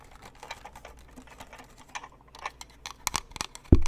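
A white lantern snow globe with a plastic frame and clear panels around a glittery Santa scene is held up and tapped quickly with fingertips and nails on its top, frame and panels. The quick, light clicking taps grow denser toward the end over a faint low hum, and a louder, dull thump near the end cuts them off.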